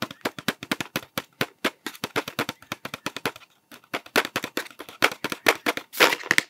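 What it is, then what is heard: Cardboard sweet tube. Fingertips tap rapidly on a cardboard Smarties tube and its blue plastic cap, making dry, short clicks with a bright edge and almost no low end. The taps run in a quick, uneven stream with a brief pause around three and a half seconds, then resume louder and brighter, with a denser rustling burst near the end.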